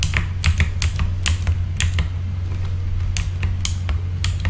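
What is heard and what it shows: Fingertips of both hands type on a full-size backlit mechanical keyboard with plastic keycaps. Bright, clacky key strikes come in quick, uneven bursts over a steady low hum.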